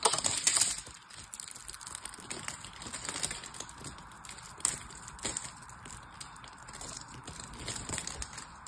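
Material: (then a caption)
Soap. A solid purple bar of soap, held in one hand, has its scored surface cut with a craft knife so that cubes and flakes break off. The sound is a run of crisp, bright scraping and crumbly crackles. The first second is louder, and a sharper snap comes near the middle.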